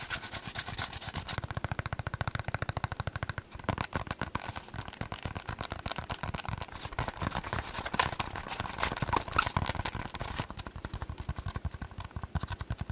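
A massage ball is tapped and scratched at high speed, giving a steady stream of quick, dry clip-clop-like taps with a faint scratchy texture and no speech.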